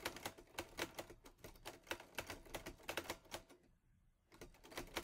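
Fingertips type on the keys of a teal metal portable Olivetti Lettera 22 typewriter, making a quick run of sharp, bright clacks. The typing pauses briefly near the four-second mark, then resumes.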